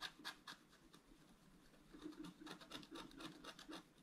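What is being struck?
Scratch-art card with black coating over foil, scratched with a wooden stylus.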